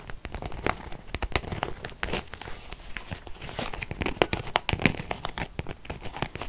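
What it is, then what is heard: Faux leather zip wallet. A small beige quilted faux-leather zip purse with a metal zipper, soft and hollow, is held in both hands and scratched with long painted fingernails. Rapid dry crinkling scratches and sharp clicky ticks follow one another closely throughout. The result is a continuous crackly texture with a bright edge and a soft low body.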